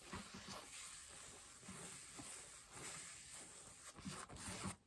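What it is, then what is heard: Denim jeans scratched. Long nails scratch the thigh fabric and seam of worn beige cotton denim jeans, with the knee raised while seated. Quiet, raspy scratching strokes carry a bright, hissy texture over soft low thumps, rising a little louder near the end before cutting off.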